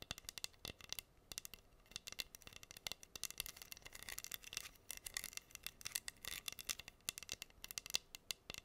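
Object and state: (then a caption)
Rhinestone-covered wooden heart board. Long nails scratch rapidly across the pink acrylic rhinestones covering a flat, solid wooden heart board held upright. The result is a quiet, dense stream of crisp, bright clicks and scratchy ticks with almost no low end, each one dying away instantly.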